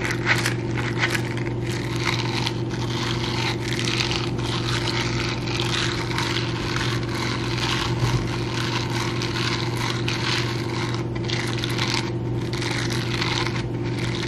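Bare fingertips rub and scratch across the soft bristles on the palm and fingers of a teal silicone dish-scrubbing glove worn on the other hand, held close to the camera. A continuous, dense, bright scratchy rustle with fine crackles runs at an even level over a steady low hum throughout.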